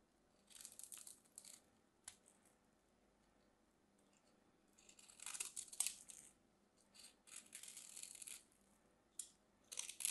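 A solid white bar of soap is held in the hands while its edges are scraped and carved with a small craft knife. Quiet, bright, crisp scraping bursts come in irregular clusters, with short pauses between them and almost no low end.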